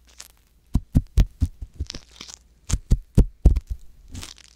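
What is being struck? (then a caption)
Silicone ear of a binaural microphone scratched with a wooden pick. The ear canal of a soft silicone ear on a white box binaural microphone is scratched with a wooden ear pick. It makes a quick, irregular series of deep, muffled thumps with short scratchy, crackling bursts. Occasional bright rustles sound between them.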